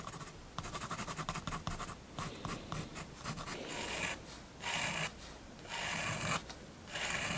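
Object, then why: Fineliner pen on a paper sketchbook page. A fineliner pen makes dense hatching strokes on a spiral-bound paper sketchbook page bearing a building sketch. A dry scratching sound comes in quick rapid strokes at first, then turns into longer, louder bright scratches separated by short pauses.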